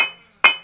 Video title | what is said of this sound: A Sturdy New Masonry Heater - Made the Old Way | the best ones, they have a little bit of a ring to it, like a bell